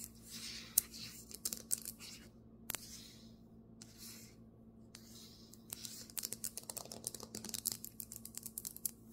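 Fingernails scratch and tap on a marble table top. Bursts of bright, hissy scratching with short silent gaps and a few sharp clicks give way after about six seconds to fast, dry tapping with almost no ring, over a faint steady low hum.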